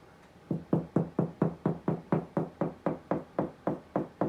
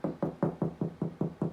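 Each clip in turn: First: solid drywall ceiling spot over a stud. Second: hollow drywall ceiling between studs.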